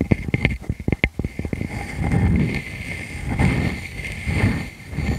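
Long fingernails scratch repeatedly across the face of a solid, palm-sized round wood slice with growth rings and a bark rim. A quick run of sharp, dry scratching strokes comes first, then longer, low, rustling swells, with a faint steady high tone running underneath.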